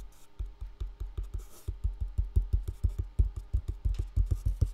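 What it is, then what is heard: Full box. A full box with contents inside is tapped repeatedly with quick, uneven taps, about 25 in all. Each tap is a short, dull, low thud that dies away almost at once.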